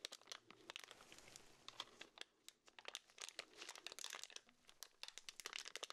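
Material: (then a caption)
Plastic film. A pink urinal deodorizer cake in clear plastic wrap is held in both black-gloved hands while the fingertips pinch, pull and crinkle the wrapper. The result is a quiet, bright run of sharp crackles and crinkles with almost no low end, each snap dying away almost instantly.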